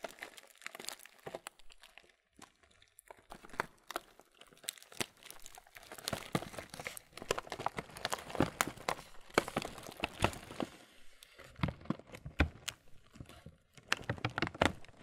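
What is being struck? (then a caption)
Laminated plastic cereal bag. A full, printed laminated plastic Kellogg's muesli bag is crinkled with the thumbs and fingers. Dense, irregular crinkling, crackling and crunching snaps rise and fall in bursts, with brief quiet gaps between handlings. The short, bright, dry crackles stop almost instantly.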